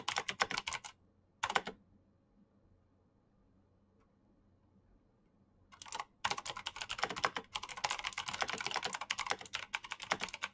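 Fingertips with painted nails fast-type on a black plastic full-size Razer BlackWidow mechanical keyboard with green clicky switches and backlit keycaps. Short bursts of sharp, bright clicking open the clip, followed by a quiet pause of a few seconds with only a faint low hum. The typing then resumes in a dense, continuous flurry of crisp, clacky keystrokes that runs to the end.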